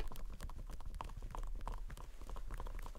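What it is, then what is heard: Whole watermelon. A large whole green striped watermelon with a thick rind is held in both hands wearing rubber costume gloves and knocked or slapped with the hands. A rapid series of hollow, low, clip-clop-like thumps follows, each dying away quickly.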